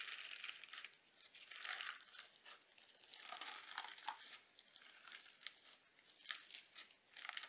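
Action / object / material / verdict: scrape / slime with sequins / slime, sequins / none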